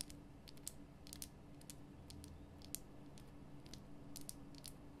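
Long nails tap quickly along the rough sides of a large, glowing pink Himalayan rock salt lamp, a solid salt block. The taps are quiet, short and bright, with crisp clicks that die away almost instantly. A low, steady hum runs underneath throughout.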